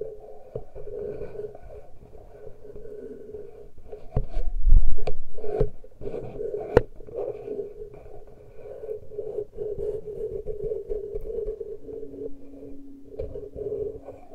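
Fingers and nails delicately scratch and rub the small, uncovered metal-grille microphone capsules on a Tascam recorder, producing a close, muffled, bass-heavy rustling over a steady low-mid hum. Sharp clicks and a louder rumbling surge come through around the middle, and a faint low tone settles in near the end.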